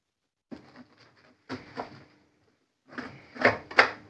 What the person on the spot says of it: listen to how crispy the sheet is